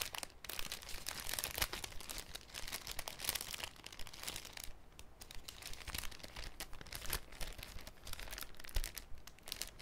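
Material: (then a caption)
Cellophane. A thin, clear cellophane sheet folded into a cone is flexed in the hands, making a continuous, irregular crinkling and crackling. Dense bright snaps and crisp pops of varying loudness sit over a faint low rumble throughout, with brief quieter pauses between bursts of handling.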